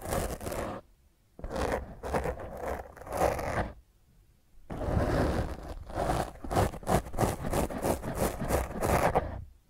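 Long fingernails on one hand scratch a black foam microphone windscreen, producing rough, crackly scraping with a heavy low rumble. The scratching comes in three bursts separated by short pauses, and the final, longest burst pulses in rapid strokes.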